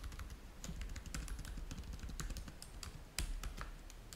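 Fingertips type rapidly on the keys of a black plastic laptop keyboard, producing a steady stream of short, light clicks over a low background rumble. One slightly louder clack stands out near the end.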